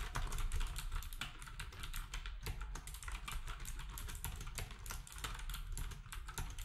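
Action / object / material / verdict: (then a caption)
tap / plastic keyboard with round keycaps / plastic / none. Fingertips type steadily on a black, compact, plastic typewriter-style keyboard with round plastic keycaps. A rapid run of short, bright, crisp clicks rides over a low, steady rumble, and each key stroke dies away almost instantly.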